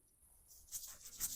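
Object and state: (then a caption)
Dry poppy seed pod that rattles. A dry poppy seed pod in a vegetable garden is knocked to check for a rattle, giving faint, bright, high-pitched dry rattling taps of loose seeds inside. The rattle shows the seeds are dry and loose, so the pod is ready to snap off before it opens and drops them.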